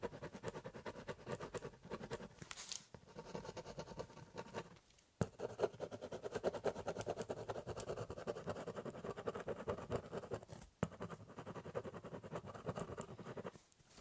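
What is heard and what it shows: A ballpoint pen tip scribbles and cross-hatches densely across the top surface of a large, hollow corrugated cardboard box. The result is a steady run of dry, rasping scratches with a hollow, mid-toned body, broken by a few brief pauses before the strokes resume.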